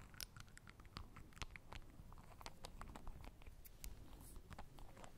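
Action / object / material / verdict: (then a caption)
tap / small glass dropper bottle with plastic cap / glass, plastic / none. Long acrylic nails unscrew, tap and scratch the white plastic dropper cap of a small, partly full clear glass Essence express dry drops bottle close to the microphones. Quiet, rapid clicks and crisp scratches come in a steady patter over a low background rumble, each tick dying away almost instantly.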